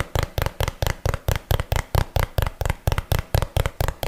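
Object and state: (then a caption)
Cardboard box, hollow. A small, hollow, printed cardboard box, apparently empty, is held in one hand close to the mic and tapped and knocked with the fingertips and nails of the other hand. Eighteen dull, hollow thuds land at a brisk but slightly uneven pace, each with a deep low body, a light papery click on top and almost no ring.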